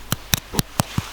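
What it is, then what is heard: Hollow baked cream puff. A baked, cooled choux pastry cream puff, with small holes poked in it to let the steam out, is tapped five times. Each tap is a short, dry, hollow knock with a low thump and a bright clicky edge that dies away instantly. The sound shows the puff is hollow, the desired result for fluffy choux pastry.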